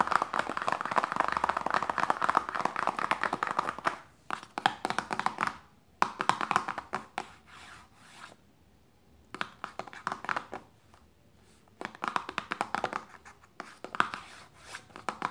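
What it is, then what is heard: Paperboard lotion box. Long nails tap and scratch a small, closed, hollow printed paperboard lotion box resting on fabric. Bursts of fast, dry, papery clicking centered in the midrange alternate with brief quiet pauses, with almost no low-end thump or ring.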